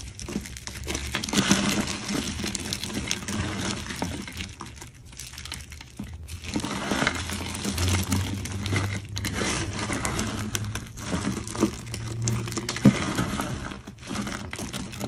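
Bare hands knead, crush and rub a heap of brittle orange dried soap flakes and curls. A dense, continuous crackling and crinkling crunch fills the clip, bright and dry with short sharp snaps, easing briefly around 5, 6 and 14 seconds before resuming. A steady low hum sits underneath throughout.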